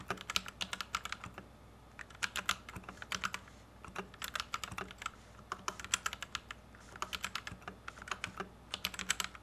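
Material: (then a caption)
Plastic. A white compact plastic Royal Kludge RK71 mechanical keyboard with Gateron Red switches, resting on a felt desk mat, is typed on with the fingertips of both hands. Quick bursts of sharp, bright clacks with short pauses between them ring around 1.4 kHz. Each keystroke is short and dry, with almost no low end.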